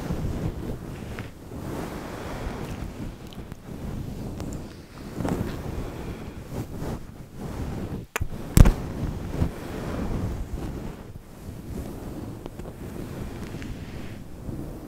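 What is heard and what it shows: Very long acrylic nails on both hands scratch and rub a fluffy grey-white faux fur windscreen, which sits soft and hollow around a microphone. The result is a steady, muffled, low rumbling rustle that sounds like wind, with almost no bright content. A single brief, sharper crackle stands out just past the midpoint.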